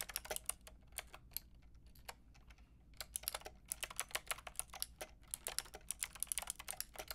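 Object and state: Plastic mechanical keyboard, typing.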